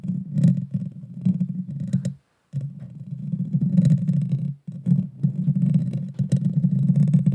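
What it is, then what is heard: Metal microphone grille scratched with fingernails. Long dark fingernails of both hands scratch the hollow metal mesh grille of a Blue Yeti Nano microphone. The result is a dense, boomy, low rumbling scrape with faint bright ticks on top. It breaks off into two brief silences near 2.2 and 4.6 seconds, then resumes.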